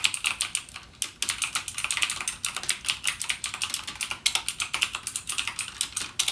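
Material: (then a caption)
Plastic. Fingertips type continuously on a backlit mechanical gaming keyboard with plastic keycaps and clicky Cherry MX Blue switches. A rapid, steady stream of sharp, bright clicks sounds, each dying away almost instantly, with a brief pause around the one-second mark.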